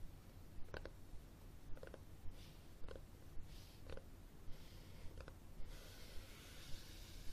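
Fingernails tap and scratch the cover and spine of a red cloth-covered hardcover book held flat close to the camera. About eight soft, dull taps land at a steady pace of roughly one per second over a low rumbling background. A brighter, hissing scratch swells toward the end.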